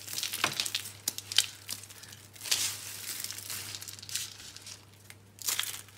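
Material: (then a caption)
Soap. Fingertips break dry green and pink soap rolls and crush the pieces and crumbs in a pile. The result is a bright, dry crackling and crumbling, with sharp snaps and short bursts of gritty crunching. A faint, steady low hum runs underneath.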